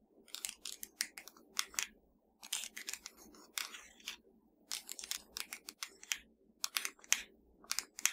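Long nails tap and scratch quickly across a slim, hollow, black plastic Fire TV remote control held in one hand. The result is a quiet run of crisp, bright, clicky taps and scratchy rasps in rapid bursts, separated by brief pauses. Each sound is dry and short, with almost no low end.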